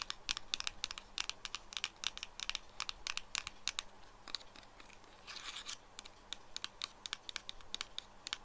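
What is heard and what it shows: Fingertips and nails tap and scratch the sides of a small pink and white printed cardboard retail box of double-sided tape lying on a wooden table. A quick series of dry, bright ticks and clicks is heard, with a brief rustling scratch partway through. Each tap dies away almost at once, with little low rumble.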